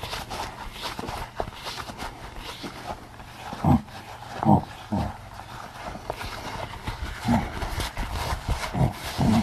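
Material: Latex rubber.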